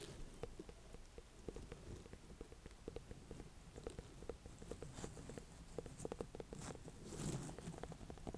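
A small ribbed orange-and-cream ornamental pumpkin with a firm rind is held in the hands and tapped and scratched with long dark nails. The result is a quiet, steady run of quick, dull, low taps that stop dead with no ring, with soft scratchy brushing between them and a brief brighter scrape near the end.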